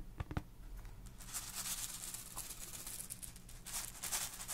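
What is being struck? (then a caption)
Small plastic star projector. A small hollow boxy plastic galaxy star projector, held in hand near the microphone, is tapped and scratched with long nails and fingertips. A few sharp, dry taps come first, then a steady, bright, hissy scratching rubs across the plastic surface over a faint low hum.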